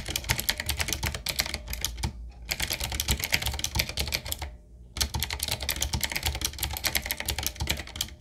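Fast two-handed fingertip typing on a 7Keys retro mechanical keyboard: a full-size, solid, typewriter-style board with round plastic keycaps on a dark metal plate in a wooden-looking frame. It gives a rapid stream of bright, crisp clicks over a low thudding body, with two short pauses before the typing resumes.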